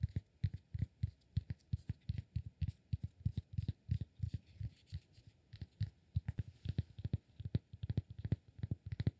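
Fingertips tap and scratch a solid cork block held in the palm, producing a quick, steady run of dozens of soft, dull thuds. The thuds are deep and very short, with no ring, and faint brighter scratchy textures ride above them.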